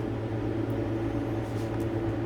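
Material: Nothing is struck.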